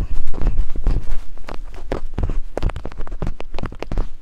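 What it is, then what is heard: Silicone microphone ears tapped with wooden picks. Two wooden picks held by long-nailed hands tap and scrape rapidly over silicone ear-shaped binaural microphone capsules. The result is a dense, irregular run of deep, boomy thumps and short, sharp scratchy clicks, loudest at the start and then settling into a steady patter.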